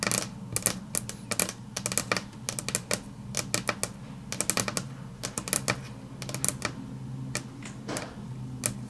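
Long natural nails tap quickly on a flat, solid grey wood-grain laminate tabletop, making rapid, bright, dry clicks in uneven bursts that stop almost instantly. Faint music sits underneath as a steady low hum.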